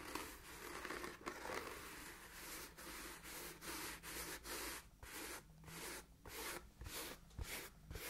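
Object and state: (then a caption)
Leather ankle boot scratched with fingernails. Long nails rub and scratch the leather surface of a hollow, empty black leather ankle boot. Quiet, bright, raspy scratching comes in a steady run of strokes, each a short burst of broadband friction with brief silent gaps between. It has a dry scraping texture with little low end.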